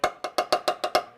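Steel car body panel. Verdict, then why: Solid. Seven quick taps on a spot of the steel rear interior sheet metal of a Mazda Miata, checked to find where Dynamat sound deadening is needed, each giving a short, dry knock centred near 720 Hz that dies away almost at once. This panel sounds solid, not hollow.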